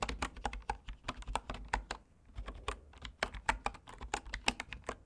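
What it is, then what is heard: Bamboo keyboard being typed on. Fingertips type steadily on the wooden keys of a bamboo computer keyboard, producing about two dozen short, dry taps with a brief lull midway. Each keystroke is a hollow, woody click with a soft low thump and a bright top, dying away almost instantly.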